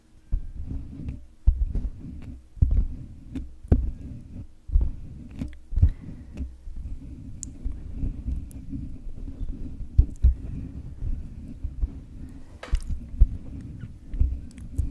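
Fingertips and nails of both hands scratch and tap directly on the round metal mesh grille of a white USB condenser microphone with a hollow head. The result is a steady, deep rumbling scratch packed almost entirely into the low end, broken by repeated sharp, boomy thumps that die away almost instantly, with a few faint high clicks.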